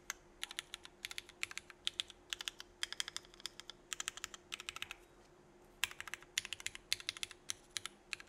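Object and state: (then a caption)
Mechanical keyboard with ABS plastic keycaps. A 65% mechanical keyboard with Cherry Vintage Black switches, red and black GMK Burgundy ABS plastic keycaps and an aluminum plate is typed on. One fingertip presses single keys and the spacebar, then both hands type. The result is bursts of sharp, bright, quickly fading clacks, with a brief pause near the middle before the typing resumes.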